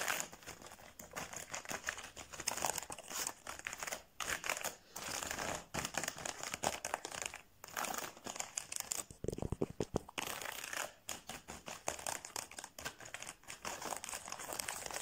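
Fingertips and nails tap and scratch across the barrels of a row of many plastic felt-tip pens lying in an open case. The result is a dense, continuous stream of quick crinkly clicks and scratchy rasps, bright in the upper frequencies with brief pauses. The hits run together too closely to count.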